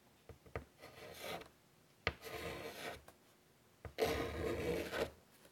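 White chalk drags across the surface of a large, flat chalkboard set in a wooden frame in short strokes. Three separate scratchy, rubbing strokes, the last one loudest, are broken up by sharp little taps as the chalk meets the board. The rasp is bright and gritty, with a faint low body beneath it.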